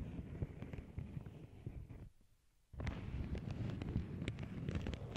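Long acrylic nail tips scratch and press a small, flat, empty lavender paper bag resting on a cork board. Dense, crinkly, low-heavy rustling with sharp scratchy clicks fills the clip, drops to near silence for about half a second just after the two-second mark, then resumes just as busy and slightly louder.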